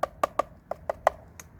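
Eight short, dry taps on a metal part of a VanVan motorcycle, each a brief knock centred around 670 Hz that stops almost instantly with no ring. The last two taps are fainter and brighter. The part sounds like metal.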